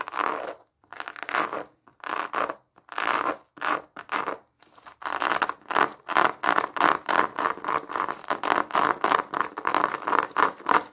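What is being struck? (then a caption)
Pomelo fruit in a plastic mesh net. Long nails tap and scratch the surface of a large whole pomelo wrapped in a yellow-orange plastic mesh net with a red ribbon, held in front of the chest. Short, dry scratching bursts centred in the midrange come in uneven clusters, spaced apart at first and then running in quick, rhythmic strokes.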